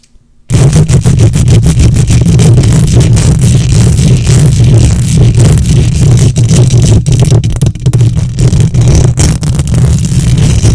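Long nails scratch the hollow metal mesh grille of a silver condenser microphone with both hands. After a brief silence, a loud, continuous, dense scratching rasp begins and fills the rest of the clip. It is dominated by a heavy low rumble and boom, with faint brighter crackle on top.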